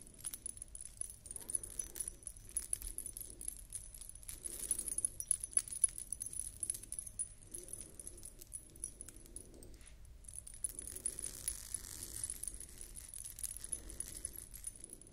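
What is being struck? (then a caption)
Glass bead necklace with metal discs. A beaded collar necklace with metal dangles is held in both hands while long nails scratch along its rows of glass beads. Soft, dense clicking and scraping runs throughout, with the metal discs giving a faint, bright, shimmering jingle. The sound stays quiet, swelling in gentle waves.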